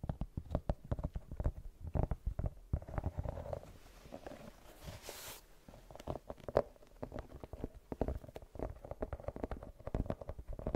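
Long nails scratch across the tread pattern of a brown rubber sneaker sole with a white rubber rim. The result is a dense run of quick, dry scratching ticks with a muffled, low-heavy body and a faint tone around 590 Hz. A brief soft hiss rises midway through.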